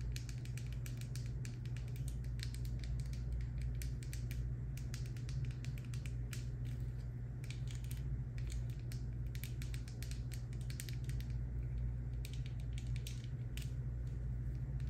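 Long nails tap and scratch the green cap and paper label of a hollow, dark green plastic Nature's Bounty D3 supplement bottle holding capsules. Many quick, bright clicks and scratchy ticks run throughout over a steady low hum.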